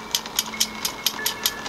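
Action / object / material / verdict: knock / iron fence struck with iron / iron / none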